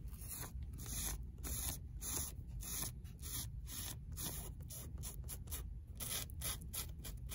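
Long acrylic nails scratch and pick at the torn paper and cardboard spine of a worn paperback from the "Bibliothèque des Idées" series, standing on a library shelf. Quick, bright, papery scratching bursts repeat in an uneven rhythm over a steady low hum, each burst fading almost at once.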